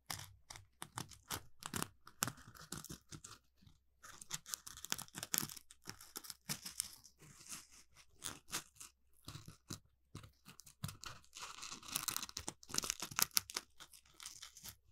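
An orange, palm-sized smiley-face Scrub Daddy sponge made of textured polymer foam is held in both hands and scratched and squeezed with the fingertips. The result is quiet, dense bursts of bright, crunchy scratching and crinkly rasps, mostly high in tone with little low end. The rasps come in quick irregular clusters separated by short silent gaps.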